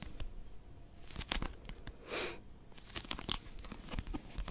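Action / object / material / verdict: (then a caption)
scrape / paper pocket dictionary cover / paper / none. Long nails grip and scratch the cover of a small blue Oxford pocket dictionary, a solid paper book. The result is a run of dry, crinkly scratches and sharp bright clicks, with a smoother rasping swell partway through.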